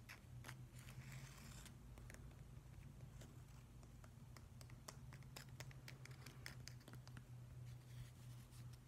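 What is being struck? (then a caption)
Weathered driftwood plank. Fingernails tap and scratch the rough, weathered face of a solid grey driftwood plank. Quiet, sharp clicks and short scratchy bursts with bright tops are scattered over a steady low hum, each tap dying away almost at once.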